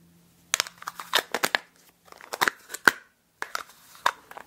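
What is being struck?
Small plastic food container with snap-on lid.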